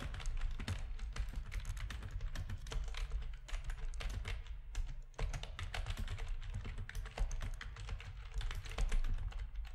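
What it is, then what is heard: Plastic gaming keyboard being typed on. Fingertips of both hands type rapidly on a full-size black plastic backlit RGB gaming keyboard with a hollow housing. A steady stream of quick, short key taps carries a hollow, low thud under bright clicks that die away almost instantly.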